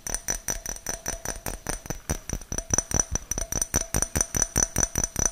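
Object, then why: Small glass jar. A small, clear, hollow glass jar that appears empty is held close to the mic and tapped and scratched with fingernails. About 28 quick, bright clicks and clinks come in a steady, slightly uneven rhythm, each with a faint high glassy ping that dies away almost at once, and soft scratching fills the gaps between them.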